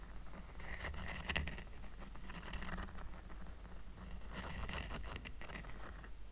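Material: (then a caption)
Rattan. A small, round, flat woven rattan coaster resting on a blanket is held in one hand while the fingertips and short nails of the other scratch across its woven surface. The result is dry, bright scratching and rustling in two main bursts over a steady low rumble.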